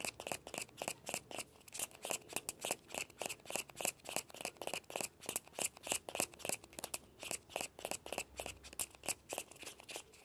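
Fingertips and nails scratch the shell of a small hollow orange plastic ball with a yellow stripe, held on a blanket. Quick, uneven strokes make a rapid series of dry, bright scratching bursts with a faint hollow tone and almost no ring.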